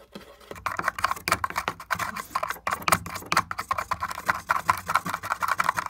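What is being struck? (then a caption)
Wooden board. A fingertip and nail tap and pick at the splintered crack of a broken wooden panel marked with marker lines. Quick, dry clicks and scratchy picking sounds come in a rapid, uneven stream, each snapping off almost instantly with a midrange tone and little low end.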